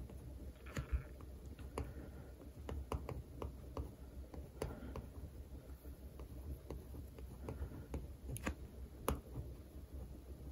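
A plastic pen tip traces and scratches over the printed text of a green paper rental sticker on the glossy cover of a solid textbook lying flat. Soft, dry scratching is broken by sharp little clicks and taps against a quiet, low background rumble.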